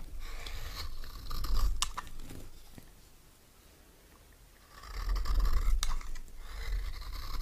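A metal knife held in the right hand scrapes a solid, dry, green oval bar of soap, while the other hand, with long nails, holds the bar. Two stretches of crisp, dry, scratchy scraping are heard, separated by a quiet pause of about two seconds in the middle. A low, dull rumble runs under the bright, rasping texture.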